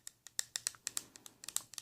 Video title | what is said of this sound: ASMR Gentle Tapping sounds - Whispered | this kinds of plastic makes a different tapping sound